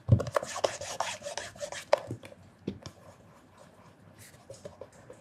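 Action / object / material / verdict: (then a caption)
scrape / leather loafer / leather / none. Cloth-covered fingertips rub and polish a black, shiny leather loafer that is hollow and held on its side. Quick, brushy rubbing strokes come with soft low thumps from the shoe, loudest in the first two seconds, then fading to quieter, sparser rubs.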